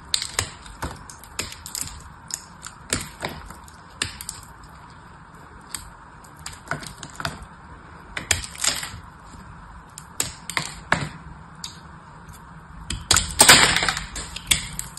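A small blade cuts and scrapes a flat, palm-sized chunk of dried soap with a silver-painted crust, held in the fingers, making crumbly shavings. It makes sharp, bright, crackly clicks at an uneven pace, with a denser burst of scraping near the end.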